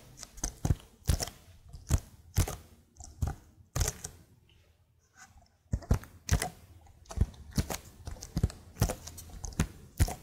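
Long nails tap the lower keys of a plastic laptop keyboard held vertically. An irregular run of sharp, clicky taps has a dull low thump under each one and dies away almost instantly. The tapping stops for a short quiet pause in the middle, then resumes at a steady pace.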